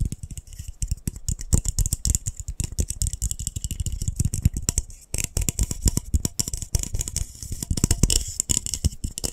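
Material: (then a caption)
Glass. A small, hollow, white frosted glass lightbulb is tapped very fast with fingertips and nails. The result is a dense, continuous stream of short, dry taps and clicks, with soft low thuds under bright, crisp nail ticks that die away instantly with no ringing.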